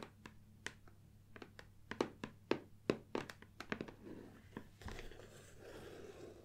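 Long nails and fingertips tap and knock on the front and sides of a closed gold cardboard Nikon lens box, hollow with contents inside, resting on a wooden table. About twenty short, dry, hollow clicks and thuds come in a quick, irregular run. Toward the end, they give way to a softer, continuous scratchy rustle.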